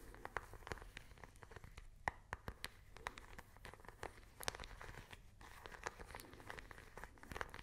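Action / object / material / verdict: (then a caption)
tap / small plastic remote control / plastic / none. Long nails tap a small, hollow plastic IR remote control close to the mic. The result is a quiet, dense run of quick, dry clicks and taps with a bright edge and almost no ring, over a faint crinkly background.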